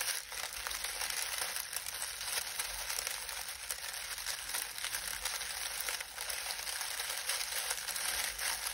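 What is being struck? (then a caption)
Dried lemon balm leaves. Hands knead and crush a pile of dry lemon balm leaves resting on a towel, pressing them with the fingertips. A steady, bright crackling rustle continues throughout with no clear pauses, the crisp crinkling concentrated in the high range with almost no low end.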